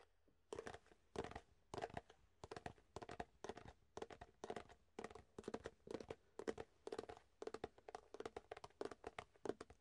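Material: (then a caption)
Thin plastic. An empty, hollow clear plastic food container is held up close while fingertips tap and squeeze its thin plastic. Quick bursts of crinkly, crackling clicks repeat steadily, each fading almost at once, with a hollow tone near 440 Hz and bright, crisp edges. The level stays soft and the setting sounds like a small room.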